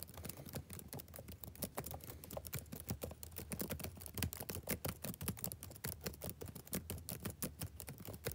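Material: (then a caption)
Plastic. One hand types quickly with its fingertips on the backlit plastic chiclet keys of a laptop keyboard. The result is a steady, rapid stream of short, dry clicks and soft taps, with a low thud under each keystroke.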